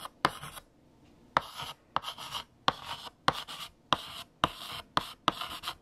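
A hand writes letters on a large, flat black chalkboard with pink chalk. Each stroke opens with a sharp tap of the chalk tip against the surface, followed by a short, bright, dry scratching, separated by brief quiet pauses.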